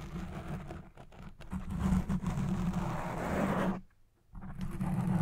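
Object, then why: Foam microphone windscreen. Long red-painted nails scratch the black foam windscreen on a Blue Yeti Pro microphone, first with both hands and then with one. The result is a dense, rumbling scratch heavy in the low end. It breaks into near-silence for a moment just before the four-second mark, then resumes.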